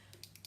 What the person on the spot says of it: Une petite bille à l'intérieur pour secouer.